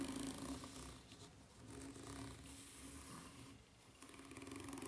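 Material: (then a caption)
Rubber. Long nails scratch the serrated underside of a white ridged rubber flip-flop sole, making a rapid, rhythmic raspy scraping with a steady low hum-like tone and a bright, gritty top. The scratching swells and fades in waves, dipping quieter twice before picking back up.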